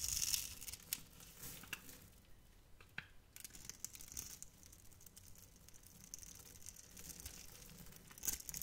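A metal knife blade carves a cube grid into a hand-sized, solid, translucent yellow glycerin soap bar held in the hand and scrapes pieces off. The result is a quiet, bright, crackly scratching and scraping made of rapid, irregular little bursts, louder at the start and again near the end.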